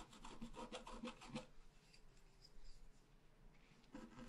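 A wooden stylus scratches details into the tree crown drawn on a thin sheet of scratch art paper lying flat. A burst of quick, rasping strokes is followed by a softer stretch of faint scratching, then another short stroke near the end.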